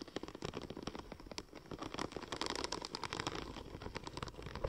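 Long nails tap and scratch across the embossed surface of a curved, silver, checker-plate-pattern vinyl wrap sheet. A rapid, uneven stream of light clicking taps mixes with dry, crackling scratches and a bright, papery rattle. The sound stays close and quiet throughout, with short, sharp transients that die away almost instantly.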